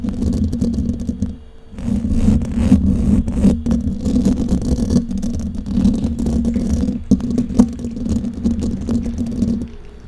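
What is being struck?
Metal wire-mesh microphone grille.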